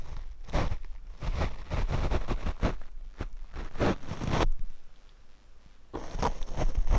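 A paint brush is brushed across the black foam windscreen on a Rode microphone, making dense, low, rumbling swishes and thumps in repeated strokes. The brushing quiets to a faint hiss for about a second and a half, then resumes with bright, scratchy strokes.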